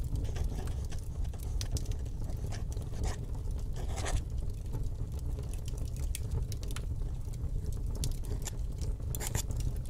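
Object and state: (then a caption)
Paper sheet written on with a fountain pen. A fountain pen's metal nib scratches across a flat sheet of paper on a desk while writing cursive lettering. A steady low rumble runs throughout, with dense, brief, bright scratching ticks and strokes layered over it at a fairly even level.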